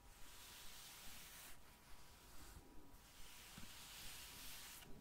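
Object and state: Gel bead eye mask.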